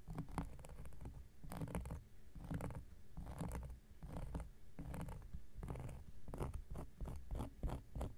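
An X-Acto knife blade scratches across a large, round, flat coaster of solid cork lying on a surface. The result is a steady series of short, rough scraping strokes with a dull, low-heavy body. Each stroke has a brief gritty burst that fades quickly between strokes.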